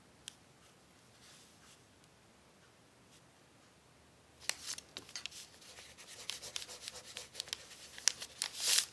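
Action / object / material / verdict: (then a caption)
scrape / thin crumpled paper sheet / paper / none. A pencil tip writes on a thin, crumpled brown paper sheet lying on a table while a hand steadies the sheet. After about four seconds of near silence with one faint tick, bright, dry scratching and crinkling begins in short strokes. It grows louder toward the end and finishes with a brief, louder rustle.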